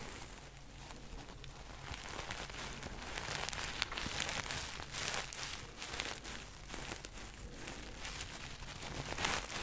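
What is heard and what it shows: A small, soft stuffed reindeer ornament in red and white knit fabric, with a sparkly sequin and glitter patch on its belly, is held in both hands close to the microphone and rubbed and scratched with fingertips and nails. The result is a steady, bright, crinkly rustle full of quick scratchy ticks, with a faint low hum underneath. It swells slightly louder toward the middle and end.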